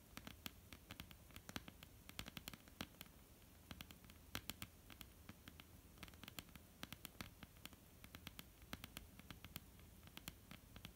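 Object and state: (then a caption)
Wooden tabletop tapped with nails. Long, almond-shaped painted nails on both hands tap quickly across a flat, solid wooden tabletop. The taps are quiet, dry and clicky, with bright, sharp edges that die away almost instantly. A low, steady hum sits underneath.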